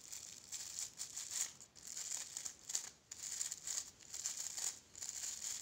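Long painted fingernails scratch and rub across the rows of soft plastic bristles on a small, solid pink plastic brush held in one hand. The result is a bright, crinkly, rasping scratch in quick uneven bursts with short pauses between, all high-pitched with no low end.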